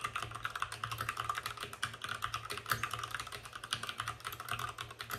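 Fingertips of both hands type fast on a white RGB-backlit mechanical keyboard with plastic keycaps and a hollow plastic case. The result is a dense, steady stream of quick, clacky keystrokes with a hollow mid-range knock around 1.2 kHz and bright click edges, each dying away almost instantly.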